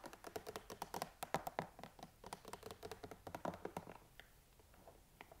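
A clear, hollow, rectangular plastic storage box full of used makeup and skincare empties is held up and tapped on its side with long nails and fingertips. Quick, dry, clicky taps come in a dense run, about thirty in all, with a short ring. After about four seconds they thin out into softer, sparser taps.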